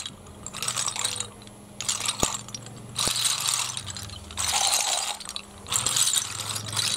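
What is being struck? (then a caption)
Heap of snail shells on concrete. Bare fingertips stir and shuffle a large heap of small, hollow, empty snail shells on a concrete floor, making them clatter against each other. Repeated bursts of bright, crisp, rattling clicks rise and fall with short quieter pauses between them, over a faint steady low hum.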